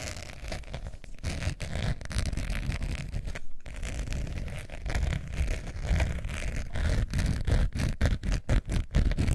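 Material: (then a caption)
Faux leather. Long nails scratch the textured surface of a long beige faux leather wallet with a metal zipper, held up in the air. Dense, irregular scratching strokes run continuously, with a deep, low-heavy texture and brief dips between strokes that grow sharper and more pronounced toward the end.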